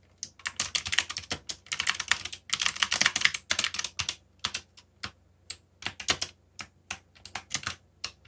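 Fast fingertip typing on a backlit mechanical keyboard with black plastic keycaps produces bright, sharp clacks that die away almost instantly. Dense runs of keystrokes in the first four seconds thin into sparser, separated taps toward the end, over a faint low hum.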